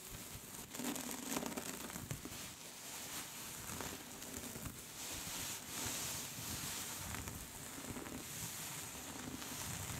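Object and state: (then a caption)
Cable-knit scarf being scratched. Long pink nails on both hands scratch along the knit surface of a soft pink cable-knit scarf lying flat. A steady, quiet, bright scratching and rustling carries on without pause, with a fine crinkly texture that swells and eases throughout.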